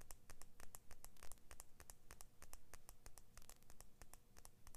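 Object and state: Steel scissor blade.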